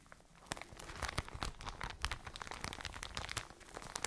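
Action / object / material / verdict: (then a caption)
scrape / soft plastic bag filled with cotton wool / plastic / none. A soft plastic retail bag filled with Unidea cotone idrofilo cotton wool is squeezed and crinkled with fingertips and long nails close to the microphones. A dense run of quick, bright crinkles and crunchy crackles rises and falls, each snap dying away almost instantly over a faint soft rustle.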